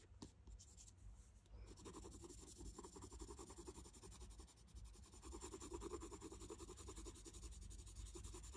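A red wooden colored pencil is rubbed in quick strokes across a thin printed paper coloring sheet lying flat on a table, coloring in a figure's skin. A steady run of soft, scratchy strokes blends into a continuous rasp over a low, dull rumble, staying quiet throughout.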